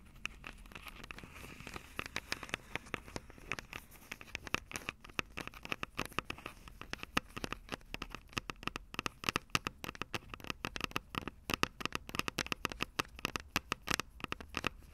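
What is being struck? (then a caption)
Plastic and metal handheld recorder with metal mic grilles. Long acrylic nails scratch across the mic capsules of a Tascam DR-05 handheld recorder from above; the recorder has a plastic body and metal mic grilles. The result is a dense, steady stream of bright, crackly scratches and sharp little clicks, each dying away almost instantly, with a faint low rumble underneath.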